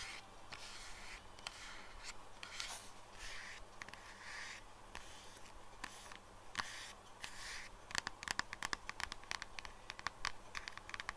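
Long nails scratch and tap the back and edge of a pale pink silicone phone case fitted on a phone lying flat on a desk. Soft, hissy scratching strokes fill the first half, then give way to a quick run of sharp, dry clicks with no ring.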